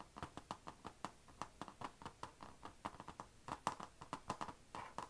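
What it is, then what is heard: Laptop lid tapped with nails. Long nails tap rapidly and scratch around the chrome HP logo on a closed, dark grey laptop lid, a thin, hollow, painted plastic/metal shell. About 27 quick, dry clicks come through with a hollow mid tone near 1 kHz and bright tips, each dying almost at once. Faint scratching fills the gaps at a quiet level.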